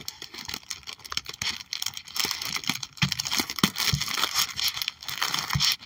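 Long acrylic nails tap and scratch across the clear plastic pockets of a trading card binder page holding holographic cards. Quick, dry taps mix with bright, crinkly plastic scratching, and a few fuller thumps land in the second half.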